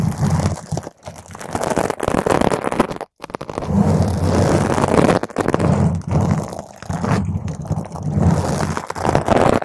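Long green stiletto nails scratch across the top of a round purple foam microphone cover. The result is a dense, continuous rumbling scrape, heavy in the low end and muffled with almost no brightness, broken by a few brief pauses.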